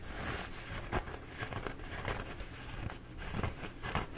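Fingertips and nails scratch and rub the surface of a bee-printed, embossed paper towel roll held horizontally. The result is a steady, dry, papery scratching and crinkling with a soft low rumble underneath, punctuated by brief louder strokes.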